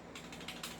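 A non-upgraded airsoft rifle is shaken, and its loose metal outer barrel rattles in about five quick, bright clacks over a low background hum. The rattle happens because the outer barrel is not fixed in place, showing it is loose.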